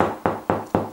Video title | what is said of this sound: How to use Magnets and 'Knocking' to Locate Wall Studs and Ceiling Joists | listen here it should sound solid